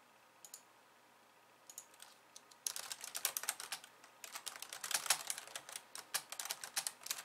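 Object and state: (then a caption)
Plastic computer keyboard being typed on. Long-nailed fingertips press the keys of a pink plastic slim keyboard with white keys, slowly at first with one hand and then with both. A few scattered, bright clicks give way after a quiet opening to denser, quicker clattering of crisp, high tapping with no low end.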